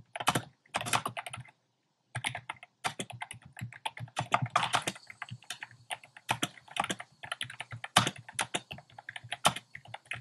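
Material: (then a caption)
Plastic. Fingertips type on a compact plastic mechanical keyboard with a black plastic case and round pastel plastic keycaps. Quick, clacky keystrokes come in dense bursts with a brief silent pause near the start. Each click is short and dry with a bright top.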